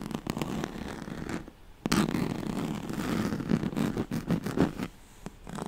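Long nails scratch across the ribbed surface and corded edge of a yellow striped woven oval pad, a straw-like fabric mat. The result is a dense, dry rasping with quick scratchy bursts, a brief quiet gap partway through, then continuous scratching with sharper strokes near the end.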